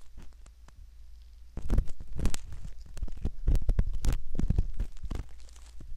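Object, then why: Silicone ear model scratched with a metal ear pick. A metal ear pick scratches at the canal of a soft silicone ear model, producing close, muffled scraping and crinkling rubs with a deep low rumble. The sound starts quiet and grows louder after about a second and a half, with irregular bursts of scratching.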